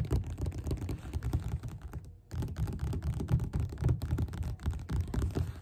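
Both hands tap their fingerpads quickly on the beige paper cover of a solid, closed paperback book lying flat on a table. The result is a rapid, uneven flurry of soft, dull, low thuds with very little brightness, briefly pausing around two seconds before continuing.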